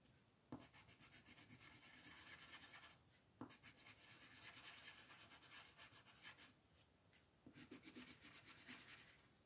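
A green wooden colored pencil scratches and rubs across a flat white paper sheet printed with a mandala, shading in steady strokes. The dry, bright rasping comes in three runs of rapid back-and-forth strokes, separated by brief pauses, with a soft tap as the pencil meets the paper at the start of each run.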